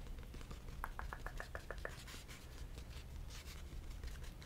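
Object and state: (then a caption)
Faux leather notebook cover, tapped and scratched. Fingernails tap and scratch the cover of a green faux leather notebook with a snap button. A quick run of light, evenly spaced taps with a faint hollow ring gives way to soft, dry scratching with bright, airy edges. Everything is quiet over a low, steady background rumble.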